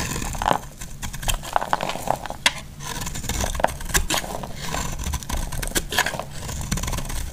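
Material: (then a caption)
Soap. A solid orange bar of soap, held in the hand, is scraped and cut with a metal blade, shaving off crumbly pieces. Dry, gritty scraping runs throughout, broken by frequent sharp, bright cracks and clicks as the blade bites and chips break away.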